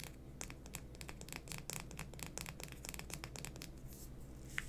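Long fingernails tap and scratch a small, hollow green plastic lipstick tube with a floral print, held in both hands. A rapid run of dry, bright clicks and scratchy rubs sits over a steady low hum, with a sharper tap near the end.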